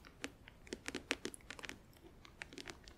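Long acrylic nails tap along the front edge and lid of a closed, clear plastic compartment nail organizer, about tray size, hollow and filled with press-on nails and glue bottles. About a dozen quick, bright, clicky taps land in an uneven rhythm, each with a faint hollow knock and almost no ring.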